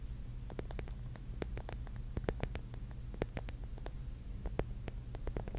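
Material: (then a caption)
Mirror glass. Long nails tap and scratch the cap of a rigid pink mushroom covered in small mirror tiles. Quick, sharp clicks with bright high tips come in an uneven stream over a steady low hum, each one dying away almost at once.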